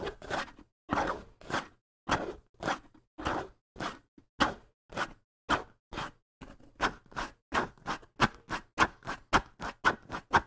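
Fingertips scratch the skin head of a hollow wooden bongo drum held close, making 21 short, dry, brushy strokes with hardly any ring. The strokes are uneven at first, then come faster and tighter in the second half, each a bright, broadband rasp with a faint low hollow body.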